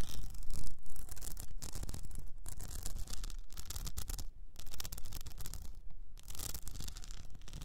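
Long nails of both hands scratch an upright cylinder wrapped in blue plastic rhinestone mesh. The result is a steady, dense scratching and crackling with bright, gritty clicks over a low rumble, in quick, uneven strokes that briefly thin out now and then.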